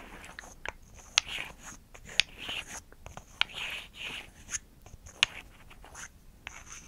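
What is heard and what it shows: Long acrylic nails tap and scratch a small, solid, light-wood rectangular block, a wooden makeup prop held in one hand, with some sounds possibly layered over each other. Seven crisp, bright clicks stand out, four of them sharpest, separated by soft, hissy scratching. The taps are dry with almost no ring, and there is very little low end.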